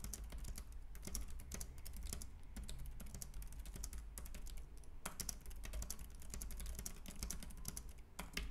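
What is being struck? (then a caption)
Plastic compact keyboard with round keys. Fingertips type rapidly on a white, compact plastic Logitech K380 keyboard with round keys. The result is a dense, continuous stream of short, bright, dry key clicks over a steady low hum.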